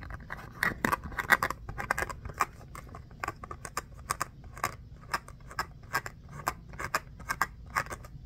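Fingernails scratch and tap a small orange textured foam mini basketball with black seams, held close. A steady run of quick, dry clicks and scratches, bright and crisp with almost no ring, sits over a faint low hiss at a quiet level.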